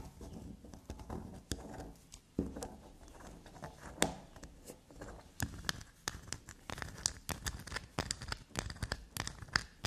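A solid black unicorn-shaped bar of soap with a scraped, shaved surface is scratched and scraped with long black nails. Quick, soft scratching alternates with sharp clicky taps and dry crackly scrapes. The attacks are short and bright with almost no ring.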